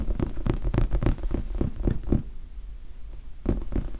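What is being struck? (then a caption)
Large foam sponge die. Fingertips scratch and tap a large red foam sponge die, giving a quick run of soft, muffled, low thuds. The taps come irregularly at first, then pause briefly into a quiet rustle before a few more taps near the end.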